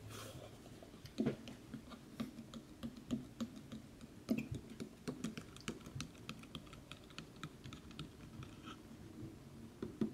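Fingernails tap and scratch the lid and side of a large, dark, closed and hollow cardboard game collector's box with a distressed print. Many short, dry clicking taps ring out over a soft, steady scratching rustle, each tap dying away almost at once with a dull, low body.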